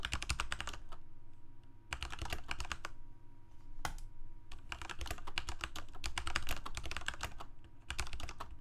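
A Corsair K68 full-size mechanical keyboard with plastic keycaps, Cherry MX Red switches and a backlight sits on a desk and is typed on with the fingertips of both hands. Quick runs of short, bright plastic clacks come in bursts separated by brief pauses, over a steady low hum.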